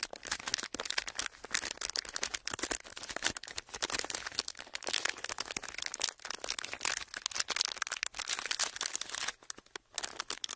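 A flattened clear plastic wrapper is pressed and rubbed with fingertips, then crumpled in the hand. It gives a dense, continuous crinkling and crackling that is bright and high with almost no low end. Sharp snaps ride over steady rustling throughout.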